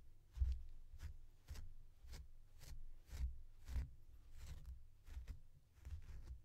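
A blue plastic comb is pulled again and again through the long-pile synthetic fur of a small, soft, stuffed purple plush toy. Each stroke gives a quiet, low, muffled rustle with a faint bright scratchy hiss, and the sound dies away quickly between strokes.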